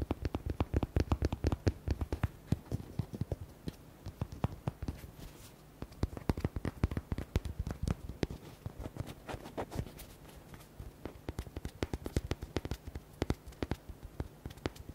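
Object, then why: Hollow rubber duck toy. Fingertips and nails rapidly tap and scratch the surface of a hollow, palm-sized red rubber duck with white hearts, held in both hands. Quick, dull, low-pitched taps come in dense bursts with faint scratching between them, and a short lull comes about a third of the way through. Each tap dies away almost instantly, with no ring.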